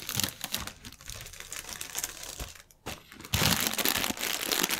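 Fingertips and nails tap, scratch and crinkle the film of a clear, inflated plastic air cushion packaging strip resting on a white table. Dense, bright crinkling and scratchy rustles run throughout, with a brief near-silent gap just before the three-second mark. The crinkling then returns louder and more continuous until the end.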